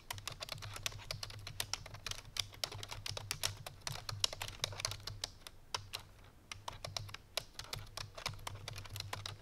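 Fingertips and painted nails of both hands type fast on a full-size black plastic computer keyboard resting on a white fur rug. The result is a dense stream of sharp, bright, clicky keystrokes with almost no ring, a brief lull around the six-second mark, and a steady low hum underneath.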